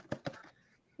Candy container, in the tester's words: can you hear it sounds empty